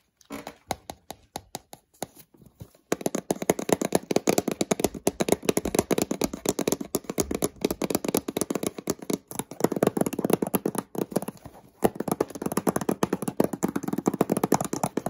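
Fingertips tap and scratch the surfaces of a small, hollow, white cardboard product box for a digital microscope held in the hand. A few slow, scattered taps open the clip, then give way at about three seconds to fast, continuous tapping with dry scratching. The taps are short, hollow and muted, and the flurry pauses briefly a couple of times before running on to the end.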